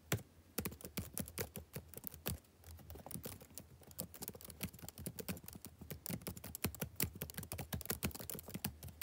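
Fingertips type steadily on the black plastic keys of a backlit laptop keyboard for about nine seconds. Each key gives a quick, dry clack with a brief bright tick, falling into irregular rapid bursts with short pauses. A faint low hum runs underneath.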